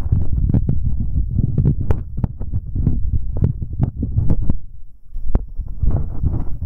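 Fingertips in rubber finger cots rub and tap directly on metal binaural microphone capsules, first on both sides and then on the right capsule only. The result is a dense, close, muffled low rumble and thumping, with sharp clicks and brief bright ticks from the taps.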